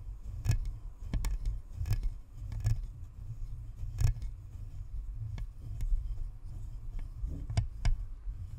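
Long nails scratch across the top and perforated metal grille of a hollow, white plastic spherical Blue Snowball microphone. The result is a series of irregular scratchy clicks and rasps over a heavy, boomy low rumble, with brief sharp bright ticks that die away quickly.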